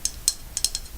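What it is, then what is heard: Dry shampoo aerosol can tapped. A dry shampoo aerosol bottle is tapped lightly several times. Each tap is a short, dry, bright click with almost no ring, mostly high-frequency, over a quiet background.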